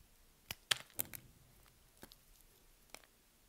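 A metal blade shaves slabs off the scored surface of a solid white soap bar held in the hand, cutting and scraping the soap. Several short, crisp, bright crackles and clicks sound quietly, with almost no low end and no ring between them.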